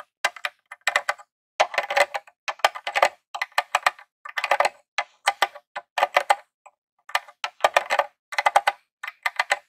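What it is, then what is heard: Plastic game console tapped with nails. A metal claw nail taps and scratches in and around the controller port on the front face of a grey plastic Nintendo mini console. Quick clusters of dry, crisp clicks and short scratches come in bursts separated by brief silences. The sound has no low end, a hollow plastic midrange, bright edges and almost no ring.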